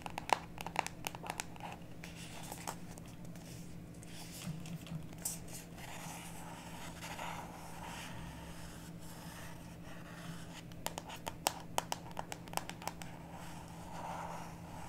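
A small printed cardboard box of oracle cards is held in both hands while long natural nails tap and scratch its surface. Sharp, bright clicks come in clusters near the start and again later, separated by softer scratching and crinkling, all quiet over a steady low hum.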